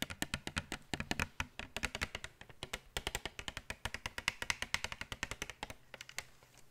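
Long nails tap and scratch the plastic front of a blister pack of full glitter tubes held in the hands. Fast, crisp, bright clicks come in a dense, irregular run with very short decay. The tapping thins out and fades toward the end.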